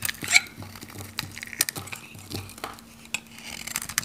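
A metal knife shaves and cuts thin flakes from a solid, handheld, pink, dry, varnished Godrej No.1 soap bar. The result is a run of bright, dry, crackly scrapes and sharp snaps with almost no ring, over a faint steady low hum.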